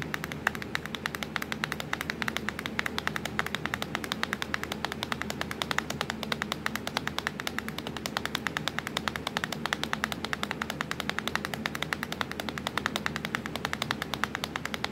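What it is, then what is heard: Plastic laptop keyboard. Long stiletto nails tap quickly across a black plastic laptop keyboard with the Windows key visible, a hollow device. A dense, steady stream of short, bright clicks with a hollow tone around 1.7 kHz continues throughout. A faint low hum sits underneath.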